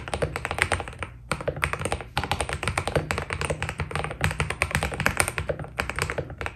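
Fast two-handed fingertip typing on a white Keydous NJ80 mechanical keyboard with PBT keycaps produces a dense, steady stream of short, dry keystrokes. The clacks carry a deep, thocky low end and quick bright ticks. Brief pauses break the run near the 1- and 2-second marks.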